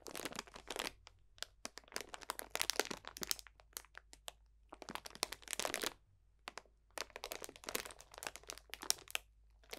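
A clear cellophane bag full of dried potpourri botanicals is squeezed and crunched with both hands, giving dense, bright crinkling and crackling. The crunching comes in bursts with short pauses between them.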